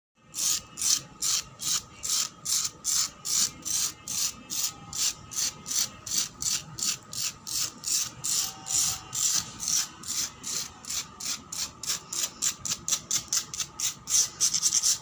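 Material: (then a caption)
Concrete. Long black pointed acrylic nails scratch fast across a large, flat, solid, weathered concrete floor outdoors. About 46 short, bright, raspy scrapes repeat in a steady rhythm, each with a high hissing grit and almost no low end, and they grow quicker toward the end.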